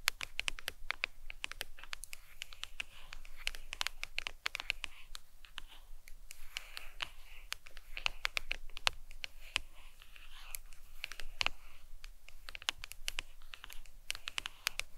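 A smartphone in a glossy leopard-print plastic hard case lies on a towel while long pointed nails tap rapidly on the back of the case. The result is a dense, irregular stream of sharp, bright clicks with very short ring, bunched into quick bursts with brief gaps, over a faint low background hum.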